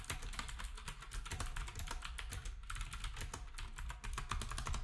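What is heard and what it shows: Fingertips of both hands type steadily on a black, retro typewriter-style keyboard with round plastic keycaps. The keystrokes come as a rapid, continuous stream of bright plastic clicks over a deep, dull thumping underneath, each click dying away almost at once.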